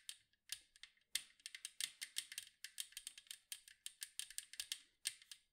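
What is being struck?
Metal cookie tin.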